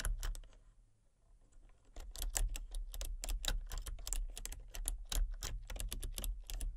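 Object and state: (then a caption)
Plastic computer keyboard being typed on. Fingertips with painted nails type rapidly on a full-size plastic computer keyboard with a colour-changing backlight. Quick, bright plastic clicks and taps come after a brief lull near the start, over a steady low hum.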